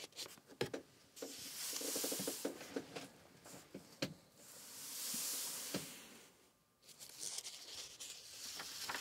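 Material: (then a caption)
Paper. Both palms and fingertips rub and smooth across the yellowed paper pages of a large old open hardback book resting on a wooden book stand. Long, soft, bright papery swishes swell and fade, broken by light crinkles and small taps of the pages. It stays quiet throughout, with a brief near-silent pause before the rubbing resumes.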